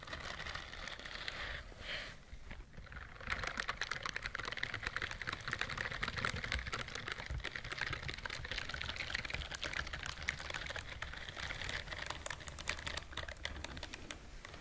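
Long nails scratch up and down the bristles on the palm of a white silicone scrubbing glove worn on one hand. The sound is a dense, rapid crackle of short, bright clicks that starts softer and then runs steadily loud from about three seconds on, with no ring after each tick.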